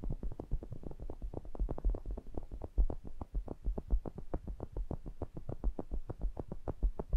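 Fingertips tap and rub the metal mesh grilles of a pair of small cylindrical pencil condenser microphones. A rapid, steady stream of soft, boomy thumps sits almost entirely in the low end around 59 Hz, with no high content. Each tap dies away almost instantly.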